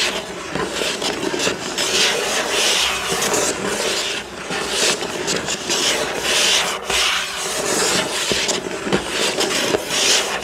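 Fingertips and nails scratch across the front of a hollow, printed cardboard building-block box. The sound is a steady, bright, dry rasping with little low end, swelling and easing in waves as the strokes change direction. A faint hollow resonance from the box sits under the scratching throughout.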